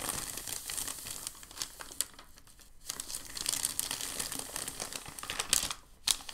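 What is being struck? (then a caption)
Thin packing paper sheet. Fingertips lift and fold the edge of a large, thin, white crinkled packing paper sheet on a dark table, then smooth it flat. Dense, bright crinkling and rubbing fills the clip, broken by brief quiet gaps around 2.3 and 5.9 seconds, with sharper rustles just after each.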